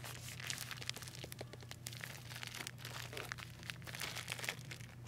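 A roll of pastel plastic decorative mesh ribbon on a hollow cardboard core, about 25 cm long, is held and turned in the hand while fingers with long painted nails rub and squeeze the mesh. A continuous, bright, dense crinkling is heard with many quick crackles over a steady low hum.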